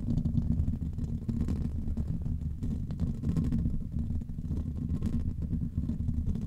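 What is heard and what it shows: A grey foam windscreen on a microphone is scratched and rubbed directly by the fingertips and nails of both hands, with rings worn on the fingers. The sound is a continuous deep, muffled rumble of dense scratching, centered around 74 Hz and carrying almost no high end.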